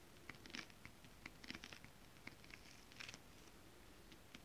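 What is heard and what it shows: Long acrylic nails and fingertips of both hands tap quickly on a flat sheet of shiny holographic mermaid scale-printed stretch fabric. The result is a quiet series of light, bright, clicky taps with a faint scratchy texture, each dying away almost instantly over a soft background hiss.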